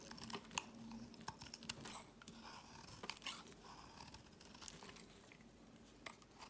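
A metal utility-knife blade scrapes and carves thin curls and flakes from a solid light-blue bar of soap held in the fingers. Soft, crisp scraping and crinkling fill the clip, with sharp bright clicks as the blade bites. The sound stays quiet and dry throughout.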